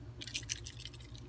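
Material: Crystal.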